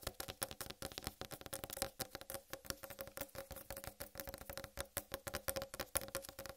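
Long red nails on both hands rapidly tap the rind of a large, solid whole watermelon sitting on a dark table. Dozens of quick, dry taps each combine a bright nail click with a short, hollow mid-range thump that fades almost instantly. The taps run in a fast, uneven, continuous patter.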